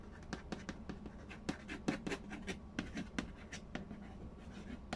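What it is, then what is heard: Cardboard board game box. Fingertips tap and trace over the printed lid of a large, hollow cardboard Payday board game box. A quick, uneven run of short, dry taps gives a hollow thump with bright, clicky edges, while soft scratchy tracing fills the gaps over a faint low hum. Each tap dies away almost at once.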